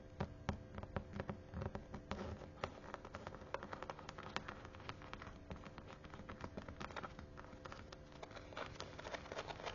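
Long manicured nails tap and scratch quickly across the soft teal perforated faux-leather cover of a thick, closed Bible held in the hand, its imitation-leather surface patterned with punched dots. The clip is a dense, steady run of quiet, short, dry clicks and light scraping, with a low underlying rustle and faint tonal hum.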